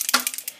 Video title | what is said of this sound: I love Drugstore! Mes derniers achats - Mars 2013 | Vous avez une bille à l'intérieur